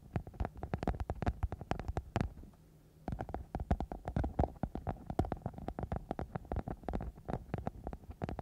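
A flexible, thin, soft silver glitter-covered foam sheet wrapped over a microphone is scratched and rubbed with long nails and fingertips. Dense, rapid crackly scratches with a low, thumpy, muffled body keep coming, with a brief quieter pause near the middle before the scratching resumes.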